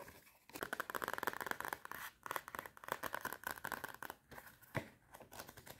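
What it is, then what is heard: Cardboard spiral notepad. Long red nails rapidly scratch and tap the cardboard cover of a small clapperboard-design notepad with metal spiral binding and a solid stack of paper. The result is fast, dry, crackly bursts of scratching with a bright edge, broken by brief pauses and a sharper tap near the end.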